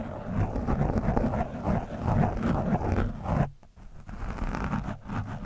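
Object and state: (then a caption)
Foam microphone windscreen. A screwdriver tip scratches an orange foam windscreen on a microphone, making a dense, low, rumbling scrape and rustle that is heaviest below 200 Hz. The scratching runs nearly continuously, briefly dropping quiet for about half a second midway before resuming with the same muffled texture.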